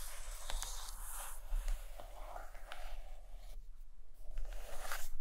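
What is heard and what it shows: Long acrylic nails tap and scratch the cover of a large purple hardcover book lying closed and solid on a carpet. Soft, dry, rasping scratches run continuously, broken by a few light, quick taps that die away almost at once, over a faint steady low hum.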